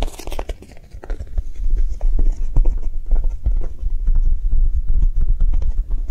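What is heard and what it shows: A Japanese cheesecake squishy, a soft foam toy, is tapped quickly with soft, non-aggressive taps. The dull, low, muffled taps come in a fast, uneven patter that starts quieter and then holds steady, with little brightness and almost no ring.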